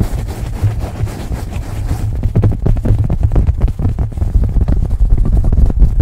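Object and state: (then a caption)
Cotton baseball cap scratched over a microphone. A beige cotton baseball cap is held over the microphone and scratched and rubbed with fingernails. A muffled, bass-heavy fabric rustle runs for about two seconds, then turns into fast, irregular scratching strokes that continue to the end.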